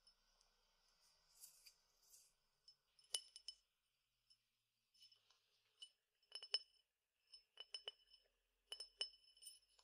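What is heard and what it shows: A clear, hollow glass tumbler partly filled with small dry peppercorns is tapped with fingertips and nails and tilted. Soft rustling of the grains shifting comes early, followed by irregular clusters of bright, high-pitched clinks that die away almost instantly, all thin and lacking any low end.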